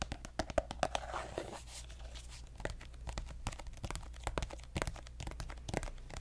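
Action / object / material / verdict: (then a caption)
tap / soft plastic squeeze tube / plastic / none. A pink soft plastic lotion squeeze tube is tapped and lightly scratched with fingernails. Quick, dry clicks and taps come in rapid, uneven bursts, mixed with brief crinkly scratching, over a steady low hum.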